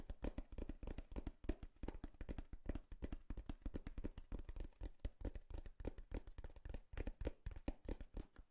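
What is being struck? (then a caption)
Corrugated cardboard box. Long nails tap and scratch the surface of a hollow brown corrugated cardboard box with tape. The result is a quiet, rapid stream of dull, low, dry taps that stop instantly, with faint scratchy rustling between them.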